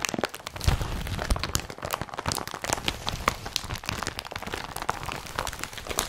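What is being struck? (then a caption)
Woven polypropylene carrier bag. Hands twist, crumple and squeeze a blue woven polypropylene IKEA BRATTBY carrier bag. Dense, continuous crinkling and crackling with sharp, bright snaps over soft low rustling thumps.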